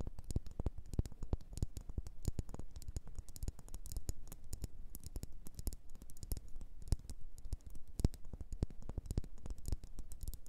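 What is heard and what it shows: Long nails tap and scratch a solid red faceted wax pillar candle. The result is a steady stream of quick, dry clicks with a dull low thud under each tap, every one dying away almost at once, with faint scratchy rustling filling the gaps between taps.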